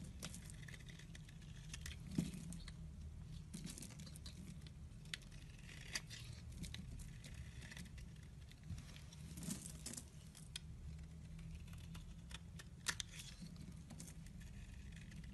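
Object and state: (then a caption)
Soap bar being shaved. A solid white soap bar held in the hand has thin curls and flakes shaved off it with a metal blade. The result is a steady, soft scraping and cutting with a crisp, crinkly texture, over a low hum and scattered sharp little ticks.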